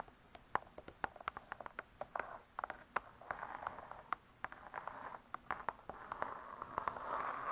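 Long nails tap and scratch the laminated cardboard cover of a spiral-bound hardcover cookbook, "Vegetarian Cookery." Many quick, dry clicks ring out over soft scraping, and the scratching thickens into a steadier bright rasp around 1 kHz toward the end.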